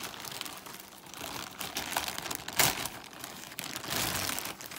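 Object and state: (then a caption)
Plastic mailer bag being crumpled and torn. Fingertips crumple, rub and tear the thin film of a large, flexible white Amazon plastic poly mailer. A steady, bright crinkling runs throughout, with one sharp, louder crackling burst about halfway through before the rustling settles back down.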